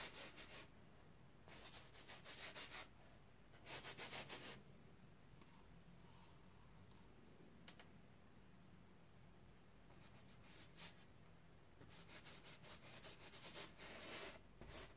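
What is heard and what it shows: A flat paint brush is rubbed in repeated short strokes to blend pink paint across a large stretched cotton canvas on an easel, its taut fabric held over a wooden frame. Quick bursts of dry, bright, bristly scrubbing come in clusters, separated by quieter stretches of faint brushing.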